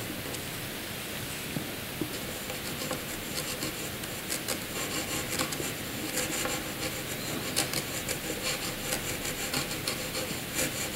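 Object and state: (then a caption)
Paper scratched with a graphite pencil. A hand-held black graphite pencil scribbles a small jagged patch on a sheet of blank white paper. The result is a steady, bright scratching rasp with short, sharper strokes poking out of it.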